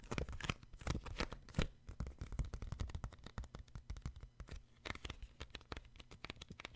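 Fingertips tap and grip the glossy card cover of a solid children's paperback book. Rapid, dry, short taps with a dull low thump mix with brief scratchy bright rustles as the fingers grip and slide on the cover.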